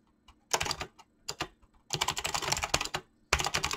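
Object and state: Mechanical keyboard with plastic keycaps.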